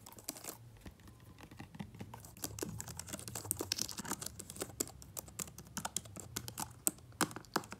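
Bare fingertips of one hand rapidly tap and type on the black plastic keys of an open, powered-on aluminum MacBook Pro laptop keyboard. Dense, crisp clicks and taps come in quick irregular bursts, each dying away almost instantly, over a faint low hum.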